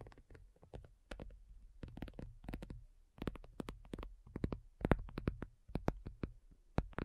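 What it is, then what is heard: Faux leather tablet cover tapped. Long nails from both hands tap rapidly across a thin, hollow-backed black folding faux leather iPad cover lying flat. The result is an uneven patter of soft, hollow, low thumps, each with a faint click on top, decaying almost instantly.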